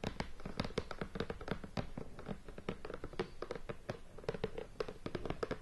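Long painted nails tap and scratch across the lid of a hollow, medium cardboard board game box in plastic shrink wrap, resting on a bed. A dense run of quick, dry, hollow taps blends with faint crinkly scratching. The taps die out almost instantly.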